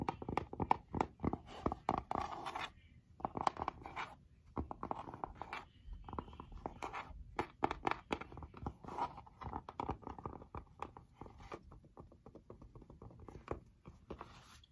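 Long nails scratch and tap the denim fabric cover of a school scrapbook held upright, with a stitched pocket and felt appliqué letters and butterflies on it. Rapid, dry, quiet taps mix with soft, papery scratching, focused in the midrange with little low end and no ring after each hit.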